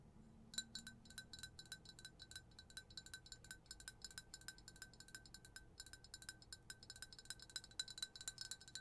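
Long acrylic nails tap rapidly on the outside of a clear, hollow glass jar or tumbler printed with "I put the BOO in Boujee," with something white inside, held in one hand. After a brief quiet start, dozens of light, quick clinks follow in a steady stream to the end, each a bright glassy tick with a high ringing tone that dies away almost at once.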